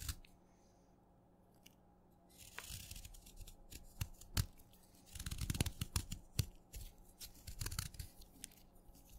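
A solid wet purple chalk stick is held in fingers while a craft knife shaves stacked flakes off the end. After a near-silent opening, bursts of dry, crunchy scraping alternate with sharp, brief clicks over a faint steady low hum.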